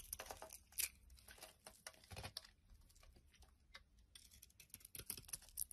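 A metal utility knife blade shaves and scrapes a solid blue bar of soap held in the hand, peeling off dry curls. The sound is quiet, bright, crisp scraping and crackling, coming in short irregular strokes with brief pauses between them.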